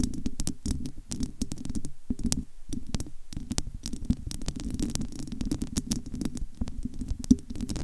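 A large studio microphone with a bare, hollow, domed metal wire-mesh grille and no cover is scratched and tapped with long almond-shaped nails from both hands. The result is a dense, continuous stream of quick scratchy taps with a deep, boomy low rumble and sharp bright clicks on top. There are brief near-silent gaps around the two- and three-second marks.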